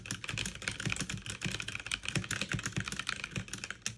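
Fast two-handed typing with fingertips and long nails on a backlit mechanical keyboard with plastic keycaps. A dense, steady stream of crisp, bright clicks rides over a low thock from each keypress.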